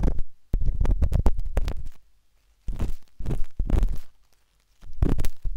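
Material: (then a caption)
Silicone. The metal tip of a wooden-handled dot stick scratches inside the ear canal of a pale pink, soft, solid silicone ear on a binaural microphone. It makes deep, muffled, rumbling scratches and rapid scraping taps in several bursts separated by brief silences. Nearly all the sound sits in the low range, with almost no brightness.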